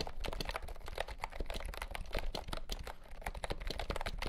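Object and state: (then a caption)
Plastic keyboard being typed on. Fingertips type quickly on a compact pastel green plastic keyboard with round keycaps and a hollow body, lit by green light. The keystrokes come as a steady, overlapping patter of short, dry clicks with a hollow low thump underneath and little ring after each press.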